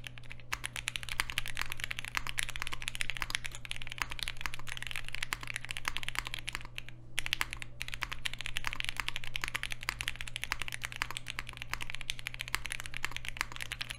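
A 60% Polaris mechanical keyboard with Alpaca switches, a green aluminium case and black plastic keycaps on a desk mat is typed on rapidly with the fingertips of both hands. A dense stream of short, bright clacks runs steadily throughout, pausing briefly around the middle. A constant low hum sits underneath.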